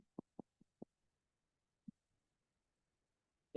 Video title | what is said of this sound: Clase 2 Habitus exterior | eso es un claro pulmonar o sonoridad ese es el ruido normal que va a tener mi pulmón al yo percutir lo